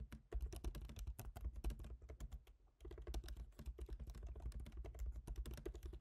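Both hands type rapidly with their fingertips on a MacBook Pro keyboard, black plastic keycaps set in a silver aluminum body. The result is a dense run of soft, clicky taps with a low thump under each, with a brief pause in the middle before the fast typing resumes.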